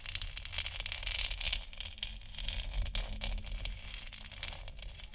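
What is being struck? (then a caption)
3D-printed plastic moon lamp sphere. Long nails scratch and tap along the top edge of a large, hollow, 3D-printed plastic moon lamp sphere lit white. The result is a steady stream of dry, crackly scraping with quick light taps mixed in, concentrated in a bright band around 2.8 kHz over a low, soft rumble.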